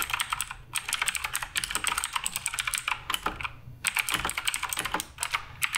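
Fingertips type continuously on the plastic keycaps of a black RGB Redragon K588 Broadsword mechanical keyboard, producing around 34 crisp, bright clacks in quick runs separated by brief pauses. Each keystroke is short and dry with almost no ring or low-end weight.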